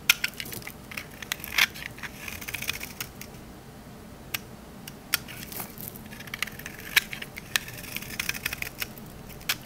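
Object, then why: Olive oil soap bar. A rectangular, solid green olive-oil soap bar is held in the hand and scraped with a metal utility knife blade. Crisp, bright crunching and crackling scrapes rise over a soft hiss, with sharp clicks that stop dead without ringing.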